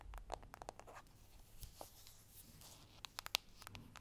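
Fingertips and short nails tap lightly on the front face of a small, square, hollow cardboard makeup box with a shiny holographic foil print reading "Girl Powder," held in both hands. The result is a quiet, irregular series of dry, bright clicks and soft scratchy ticks with no ring, the sharpest taps standing out near the end.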